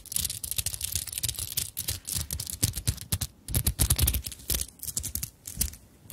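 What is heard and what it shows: Long nails scratch the surface of a small fabric handbag covered in sequins and beads, then the bag is lifted and its sequins are rubbed. The result is a dense run of quick, bright, scratchy clicks and rustles over soft low thumps, with short pauses between bursts.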